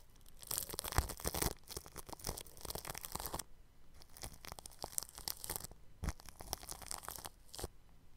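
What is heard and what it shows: A bristle paintbrush rubs clear plastic cling film stretched over a round microphone's grille, giving crinkly, scratchy, tearing-like strokes with bright hiss and low thumps. The brushing comes in bursts separated by short quiet pauses.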